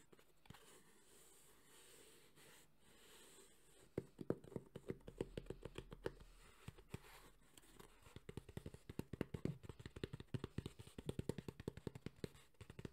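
A hollow, black, textured hard-shell EVA speaker carrying case with a JBL logo is held in both hands and tapped and scratched with fingertips and nails. After a few quiet seconds of faint scratching, quick, dry, hollow taps begin at about four seconds and grow into dense, rapid bursts toward the end. Each tap is short with almost no ring and a low-mid, boxy body.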